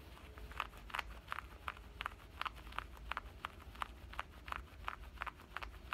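Fingernails scratch at the side pocket edge and waistband stitching of black denim shorts. About 18 short, dry scratching strokes come in a steady rhythm, each a brief rasp centered around 1 kHz with a bright hiss. A faint low rumble runs underneath.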